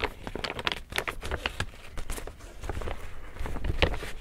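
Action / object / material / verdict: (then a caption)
tap / woven plastic tote bag / woven plastic / none. Fingertips and a palm pat, tap and rub the printed side of a large, empty, hollow pink woven plastic tote bag. The result is a steady run of quick, dry taps and crinkly rustles with a dull low thump underneath, each hit dying away almost instantly.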